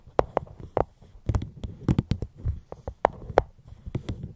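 Gentle fingertip tapping on a fruit box held up close to the microphone, about fifteen light taps in an uneven rhythm. Each tap is a short, dry knock with a soft low thump and a hollow mid tone around 500 Hz that dies away almost instantly.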